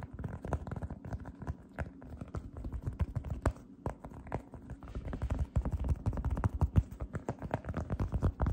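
Fingertips with long red nails slowly press, grip and rub across a light-blue, fluffy cotton candy cloud slime disc held in both hands. The result is a dense run of soft, deep, low squishes and muffled crackling pops with almost no bright edge. The sound grows louder and busier in the second half.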